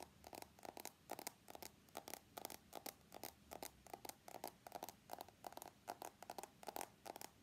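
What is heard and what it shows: An iPhone X with a glass body and stainless steel frame is held in both hands while fingernails tap and scratch along its metal edges. The result is a quiet, steady stream of quick clicking taps and short scratchy bursts with a midrange tone near 800 Hz and bright, crisp edges. There is almost no low end.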